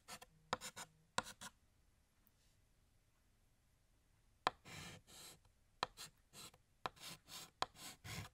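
Fingertips hold a blue chalk stick and draw small notes and dashes on a large, flat, solid black chalkboard. Sharp chalk taps and short, bright, scratchy writing strokes come in quick bursts, then a quiet pause of a few seconds, and the strokes resume in a steady run to the end.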